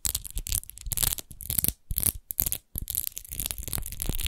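Long nails scratch fast over the embossed, rose-textured base of an empty clear glass wine bottle held on its side. The result is quick bursts of bright, gritty scratching over a low rumble, with short silent gaps between strokes.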